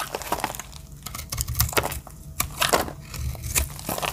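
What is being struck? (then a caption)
Bar of soap cut with a small blade. A pink-and-brown marbled bar of dry soap, held in the hand, has its edges shaved and cut with a small metal blade, with the shavings falling onto a grey surface below. Dense, dry scraping and crumbling crackles come in bursts with brief quieter gaps, bright and crisp over a low rumble.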